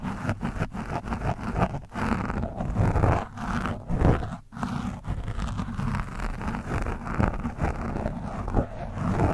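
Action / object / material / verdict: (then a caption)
scrape / foam microphone windscreen / foam / none. A screwdriver tip scratches and scrapes across the orange foam windscreen of a microphone. It makes a dense, continuous, low, rumbling scratching with short bursts and brief dips, and almost no high content.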